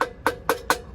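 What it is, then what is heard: Hollow dummy hubcap nut. A hollow dummy nut on an RV hubcap is tapped four times in quick succession, giving short, bright, woody clicks that die away almost instantly. The hollow sound marks it as a dummy nut rather than a solid one.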